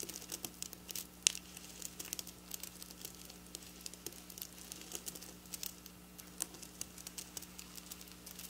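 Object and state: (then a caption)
Sequin fabric. Long black nails scratch and tap across rows of flat silver sequin fabric lying on a counter. The result is a quiet, bright, crinkly rustle of many short, dry clicks, with one sharper tap standing out early on, over a faint, steady low hum.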